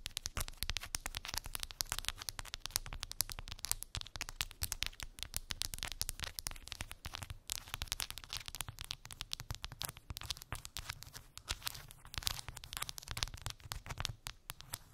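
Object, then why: Wooden beads on a cork board. Long pink acrylic nails tap and scratch across a small flat cork board covered with rows of round wooden beads. The result is a dense, continuous stream of quick, dry, bright clicks and crackly scraping that stops dead after each contact, over a soft low rumble.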